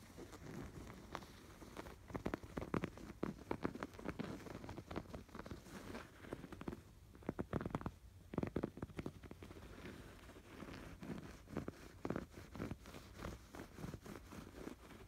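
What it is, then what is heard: Yarn-embroidered canvas pillow. Fingertips scratch the raised yarn embroidery stitches on a stuffed canvas pillow. Quick, soft, rustling strokes come in dense bursts, muffled and heavy in the low end with only a little brightness. A few louder scratching clusters stand out over a steady low-level texture.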